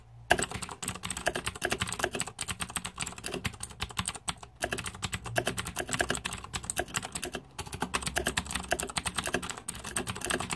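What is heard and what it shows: Rapid fingertip typing on the plastic keycaps of a green-backlit 2014 Razer Deathadder mechanical keyboard. It produces a dense stream of short, sharp clacks with bright clicky tops, starting after a brief silence and broken by a few short pauses around the four- and seven-second marks.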